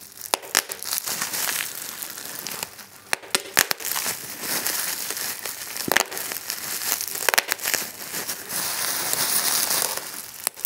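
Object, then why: Plastic bubble wrap. Clear plastic bubble wrap is grabbed in a fist and then squeezed under the thumb to pop the bubbles. Bright, steady crinkling runs throughout, broken by sharp, short pops that cut off almost instantly. There is almost no low end, and the sound stays crisp and high.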